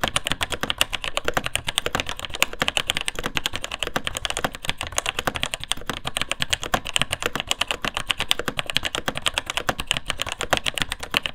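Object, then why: Plastic mechanical keyboard. Fingertips type steadily on the plastic keycaps of a vintage beige full-size mechanical keyboard with Taiwan Jet Axis linear switches. The result is a fast, continuous stream of sharp, bright clacks that cut off almost instantly, with a light low thump beneath each keystroke.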